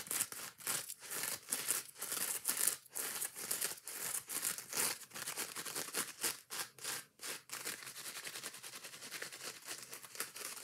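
A foam kitchen scrub sponge is held in both hands while long nails scratch quickly across its green scouring pad and yellow foam edges. The result is a dense run of fast, bright, hissy scratching bursts with almost no low end, each one cutting off sharply at a fairly quiet level.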